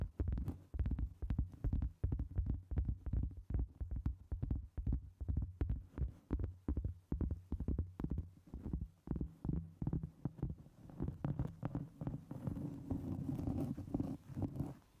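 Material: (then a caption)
Cork. Long pointed acrylic nails tap and scratch the surface and edge of a large, round, flat, solid cork trivet held over the microphone. Quick, muffled low thumps repeat rapidly and unevenly, about 158 per minute, with almost no ring. Toward the end they blur into a denser rustling scratch.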